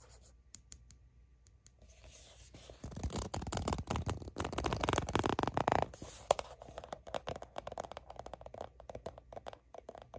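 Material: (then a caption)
Soft plastic. Long nails scratch along the front of a soft plastic Aveeno Baby sunscreen squeeze tube that appears filled. A few faint, sparse scrapes open the clip, then the scratching grows into a dense, rasping burst from about 3 to 6 seconds before settling into quicker, lighter strokes with a mid-range, papery edge.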